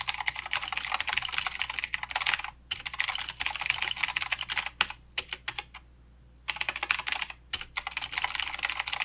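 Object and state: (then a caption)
Mechanical keyboard with plastic keycaps, clicky switches. A mechanical keyboard with plastic keycaps and clicky blue switches is typed on with the fingertips of both hands. Rapid, bright, crisp clicks come in dense bursts, with brief pauses near the middle and a longer silent gap before the typing resumes.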